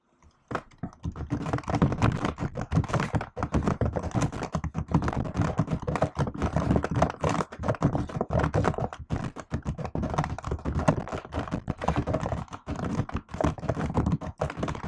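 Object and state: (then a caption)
Laptop keyboard with plastic keys. Fingertips and long nails type rapidly on the plastic keycaps of a MacBook-style laptop with an aluminium body. After a brief silence, a dense, continuous stream of short, dry taps and thunks follows, dull and low-weighted with very little brightness and almost no ring after each stroke.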